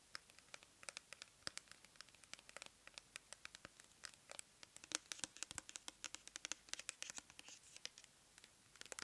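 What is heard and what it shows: Long nails scratch and tap the label and body of a clear plastic pump bottle filled with cleansing gel, held on its side. Quiet, rapid, bright clicks and dry scratches patter unevenly throughout, with almost no low end and each tick dying away instantly.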